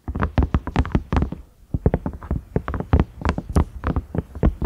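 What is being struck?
Silicone microwave lid.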